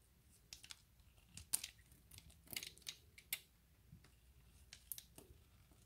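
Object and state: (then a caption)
Bar soap being scored and scraped with a blade. A utility knife blade scores a grid into a solid, pale green bar of soap held in the hand and scrapes off flakes. Quiet, bright, crisp scratches and short clicking cuts come in irregular bursts, with almost no ring and little low end between them.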